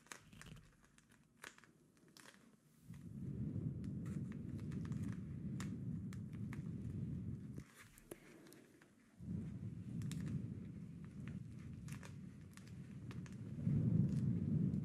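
A hand-sized, flat, soft, clear plastic ice pouch filled with teal gel beads, with a hanging tab at the top, is held in both hands and squeezed and rubbed with fingertips and short nails. Quiet crinkles and clicks give way to long stretches of dense, low, grainy churning, broken by a brief pause and sprinkled with bright ticks, then swell loudest at the end.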